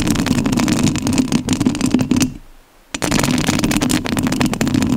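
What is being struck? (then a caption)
Metal mesh microphone grille. Long nails scratch the metal mesh grille of a rhinestone-covered studio microphone, producing a dense, close crackling rasp with a strong low, buzzy body. The scratching stops briefly for about half a second in the middle, drops to near silence, then resumes just as loud and busy until the end.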